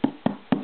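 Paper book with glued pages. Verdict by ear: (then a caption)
Hollow. Three taps on a hollowed-out paper book whose page edges have been hardened with brushed-on Elmer's glue. Each tap gives a short, hollow, woody knock centered around 200 Hz with a quick decay, and the sound shows that the book is hollow.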